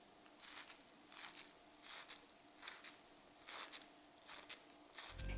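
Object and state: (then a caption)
Well-baked sponge cake. Soft, muted taps land in quick pairs on the surface of a génoise sponge cake just baked at 160°C, each a brief dull, breathy pat with no ring. A faint steady hum sits underneath, and the sound grows slightly louder and noisier at the very end. The gentle, hollow-free taps show the sponge is perfectly baked through.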